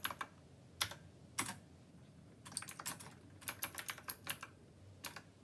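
Fingertips of both hands type on a black plastic Rymek retro typewriter-style mechanical keyboard with round copper keycaps. About nineteen short, sharp, bright clacks come in uneven bursts and pauses, each dying away almost instantly. The typing is quiet, with little low-end thump.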